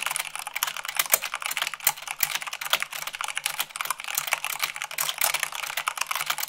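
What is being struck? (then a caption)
Mechanical keyboard with plastic keycaps. A mechanical keyboard with white plastic keycaps on a black base is typed on quickly with fingertips and long nails. Dense, rapid, bright clicky key strikes fill the clip with almost no low end. Each keystroke is short and crisp, with only a few heavier ones.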